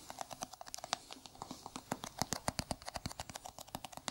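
A small, hollow, round white plastic jar held in a gloved hand is tapped on its lid and side with bare fingertips and nails. About 29 quick, uneven taps come as sharp, dry clicks with a hollow midrange knock near 740 Hz and bright, high edges. Each tap stops almost instantly with no ring.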